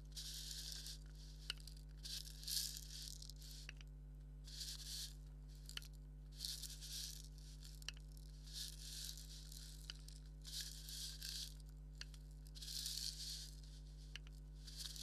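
A black leather maraca, hollow and filled, is scratched with a thumbnail, giving bursts of bright, hissy scratching with a slight rattle from the filling inside. Sharp small clicks recur about every two seconds, and a steady low hum runs underneath throughout.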